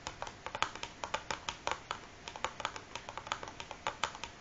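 Fingernails of both hands tap fast on top of a large, closed cardboard matchbox that is hollow and filled with matches, resting on a wooden table. A quick, uneven run of short, dry, clicky taps with a bright edge, each dying away almost instantly.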